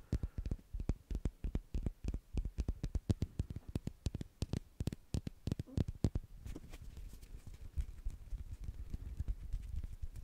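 A blue plastic ball is tapped in a quick, steady run of short, dull, low-pitched knocks that die away almost at once. After about six seconds the taps soften and blur into a quieter, more continuous patter.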